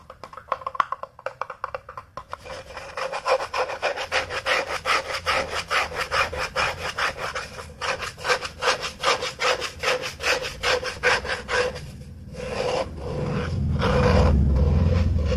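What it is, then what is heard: Plastic cup scratched with fingernails. Fingertips and short nails rub and scratch along the outer wall of an empty, hollow, tumbler-sized blue plastic cup held in both hands. A steady series of rasping strokes, about two or three per second, carries a hollow resonant tone. Near the end it gives way to a louder, continuous low rubbing.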